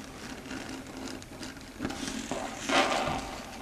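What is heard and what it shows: Long red stiletto nails tap rapidly on a flat, dark grey matte chalkboard, a solid board. Quick, light clicks run over a soft, steady hiss. A few sharper, louder taps near the end carry a brighter mid-high tone around 780 Hz, each fading quickly.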